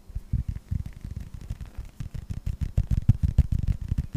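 A hand-sized, hollow yellow rubber toy ball with a red star and blue stripe, in the Pixar style, is tapped and scratched with fingertips and short nails. Soft, dull, low thuds come in quick, uneven succession, each dying away almost at once, with faint scratchy rustle between them. The taps grow slightly louder toward the end.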